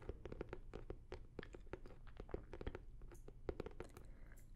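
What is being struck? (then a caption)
Hard-shell fabric-covered zip case. A closed, hollow blue starry hard-shell zippered fabric case is held beside the microphone and tapped and scratched with long nails and fingertips. The result is a rapid, quiet run of short, dry taps and scratchy clicks with a hollow mid-pitched knock and a soft low body. Each hit dies away almost instantly.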